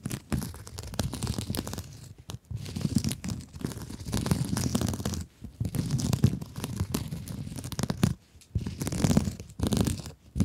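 Long acrylic nails scratch a soft, rectangular blue sponge with woven scrub mesh, making dense, rasping, crinkly scratches. The scratching comes in continuous bursts with a low, muffled body and brief pauses between strokes.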